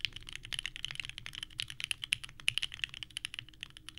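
Two hands type continuously with their fingertips on a small 65% mechanical keyboard with a purple case and white ABS keycaps, resting on a desk mat. About 29 quick, clacky key presses are heard over four seconds. Each is a short, bright click that dies away almost instantly.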